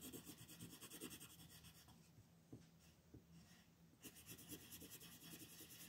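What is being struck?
Colored pencil rubbing on a paper sheet.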